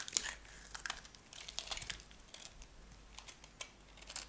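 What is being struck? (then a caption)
Bar of soap cut by a metal blade. A metal knife blade shaves crumbly flakes from a small piece of dry, solid cream bar soap. The result is a quiet series of short, bright, crisp scraping crackles, each stopping instantly, with little low end.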